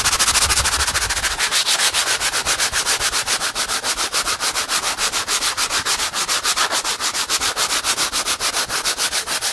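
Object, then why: Acrylic-painted stretched canvas. Fingertips rapidly rub and scratch the painted surface of a medium, hollow, vertical stretched canvas painted in acrylic with a colorful pop-art face. About 38 quick, evenly paced strokes make a steady, bright, raspy scratching, with a faint low rumble in the first second.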